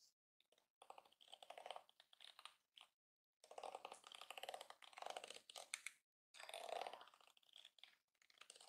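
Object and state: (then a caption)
Plastic hairbrush bristles. A yellow plastic detangling hairbrush lies on a counter while spread fingers and nails scratch and flick its plastic bristles. The result is bursts of dense, rapid crackling clicks in the mids and highs, with no low end, separated by brief silences.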